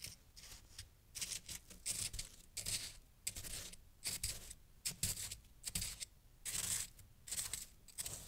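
A small wooden stick held in the fingers pokes and scrapes through a loose heap of crunchy, fresh white snow chunks resting on a green towel. The result is a series of irregular, bright, crisp crunching and scraping bursts separated by short quiet gaps, with a faint low rumble underneath.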